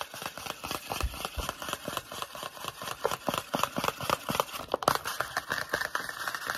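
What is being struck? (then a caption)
Small cardboard box. Fingernails and fingertips tap and scratch quickly on a small, hollow, rectangular white and blue printed Sanex cardboard toiletry box held in the hands. The result is a rapid, uneven stream of dry, clicky taps centred in the midrange, layered with bright scratchy rustling and a steady high hiss, with each tap dying away almost instantly.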